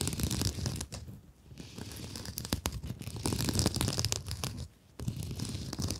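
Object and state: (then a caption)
Mesh scrub sponge. Long nails scratch across the woven mesh cover of a blue scrub sponge held in both hands. Dense, irregular scratchy rasps with a crinkly, tearing texture span low to bright tones, broken by two brief quiet pauses before the scratching resumes.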